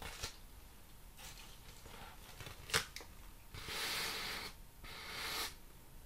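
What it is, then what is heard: Corrugated cardboard sheet. A large, flat, plain brown corrugated cardboard sheet with hollow flutes is held upright while fingertips and nails tap its surface and edge. Sharp, dry taps sound out, one especially loud, followed by two longer bursts of bright, hissy scratching.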